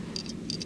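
An MSR WhisperLite liquid-fuel backpacking stove is shaken upside down after use, and its metal built-in shaker needle rattles inside the burner to clear carbon buildup. A faint, quick metallic rattle with bright clicks sits over a low background rumble, with the needle working normally.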